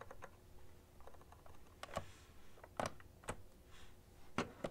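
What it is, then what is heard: Plastic computer keyboard being typed on. Fingertips and long nails type continuously on a full-size beige plastic ergonomic keyboard with hollow-housed keys. Quiet, hollow clicking taps ring briefly around the midrange over a low background hum, with a few sharper, louder clacks standing out from the steady patter.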